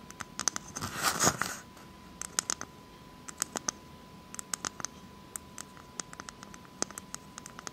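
Long acrylic nails tap and scratch the hard, fibrous shell of a whole, hairy, hand-sized brown coconut. A loud, rough burst of scratching near the start gives way to many sharp, bright clicks and short scrapes. A faint steady tone sits underneath throughout.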